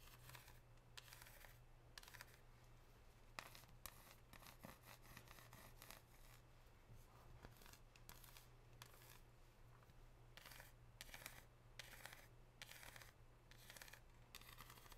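Long pink nails scratch and tap a solid, unwrapped dark chocolate bar with a scored square pattern, leaving chocolate residue on the nail tips. Bursts of bright, dry scratching alternate with short, quiet taps over a steady low hum.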